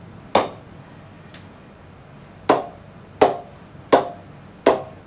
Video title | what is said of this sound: Kookaburra Beast Pro 2022 Cricket Bat review | the ping that is coming out of it is just superb